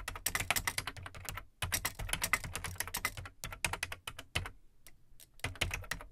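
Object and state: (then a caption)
Plastic computer keyboard being typed on. Fingertips type on the plastic keycaps of an Amstrad CPC 464 home computer, a large hollow black plastic case. Rapid bursts of bright, clicky keystrokes with a low hollow thump beneath them die away almost instantly. Brief pauses fall near 1.6 seconds and between about 4.8 and 5.4 seconds.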